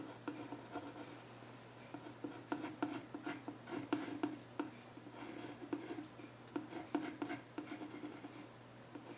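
A yellow pencil scratches drawing lines across the flat top of a solid, dark-stained wooden child's stool while the other hand holds its edge. A series of short, dry scratching strokes rises and fades with a scratchy mid tone and bright rasp, over a faint steady low hum.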